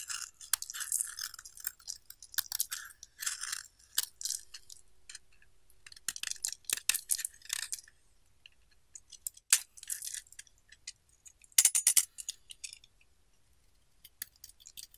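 A palm-sized solid oval pink bar of soap, held in one hand, is scraped and carved with the metal blade of a green-handled utility knife, and the shavings fall onto a white surface. Bright, crisp scraping and crunching strokes come in quick bursts separated by brief quiet pauses, with almost no low end.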